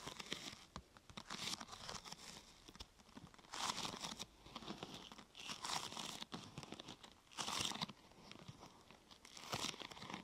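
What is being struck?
Thin plastic sheet.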